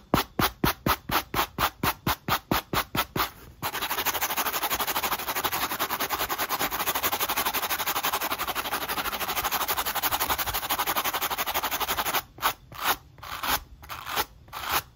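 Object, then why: Rubber shoe sole scrubbed with a wire brush. A black textured rubber sneaker outsole, held in the hand, is scrubbed rapidly with a wooden-handled wire-bristle brush. Quick, evenly spaced scratching strokes give way to a continuous, bright, hissing scrub for several seconds, then separate strokes return at the end.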